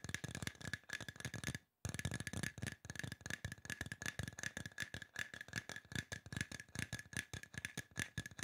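Fingertips and nails tap fast along the side of a hollow silver aluminum spray bottle, producing a rapid stream of short, dry clicks. Each tap carries a faint metallic ping near 1.7 kHz that dies almost at once, over a low thump. The tapping pauses briefly near the two-second mark before continuing steadily to the end.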